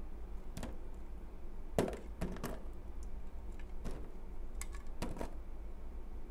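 A utility knife blade slices and scrapes a small, solid, translucent white piece of soap held in the fingers. Short, crisp crackling cuts and scrapes come at uneven intervals over a steady low hum, each one dying away almost at once.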